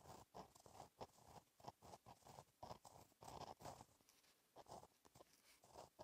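A gel pen tip scratches across a flat, black, lined notebook page while writing in cursive. Short, dry, papery strokes with a midrange rasp come in quick bursts separated by brief pauses. The scratching has faint high hiss and almost no ring.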